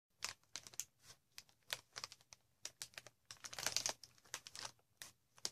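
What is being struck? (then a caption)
Plastic air-pillow packaging. A large sheet of green plastic air-pillow packaging with hollow, air-filled inflated cells is held in both hands and scratched and crinkled with long red-painted nails. The result is a quiet run of short, dry, bright crackles and scratchy taps with almost no low end. They bunch into a denser crinkling burst near the middle before thinning out again.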